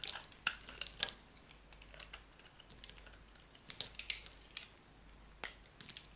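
A metal knife blade shaves a small remaining piece of solid yellow bar soap. Quiet, bright, dry scraping comes with short crisp clicks and crackles, a few louder snaps standing out over a soft hiss.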